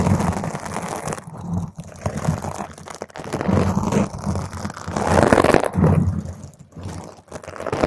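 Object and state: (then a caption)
Foam microphone windscreen. Long pointed green acrylic nails scratch fast over a purple spherical foam microphone windscreen. The result is a dense, crunchy, crackling scratch heavy in low rumble, rising and falling in rapid uneven bursts.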